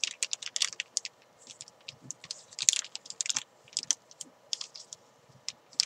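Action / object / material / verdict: scrape / thin plastic bag around a chalk ball / plastic / none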